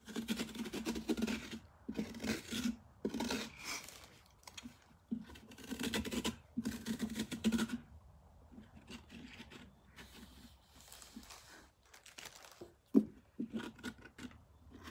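Long painted fingernails scratch and rub with both hands over the firm rind and top of a large ribbed orange pumpkin resting on a workbench. Bursts of dry, rasping scratches with a low hum-like tone alternate with softer rubbing and brief pauses, ending with a few sharper, isolated taps and scrapes.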